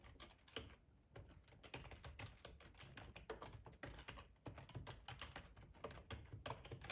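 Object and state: Plastic computer keyboard.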